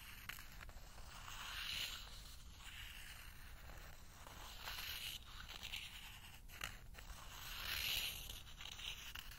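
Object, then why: Small lacquered bamboo bowl and wooden spoon. A small wooden spoon scrapes and taps around the inside of a small, empty, hollow, thin-walled bowl of spiral-wound lacquered bamboo held in one hand. Soft, bright scraping swells in slow waves, with a few light taps and a faint low rumble underneath. The taps die out quickly.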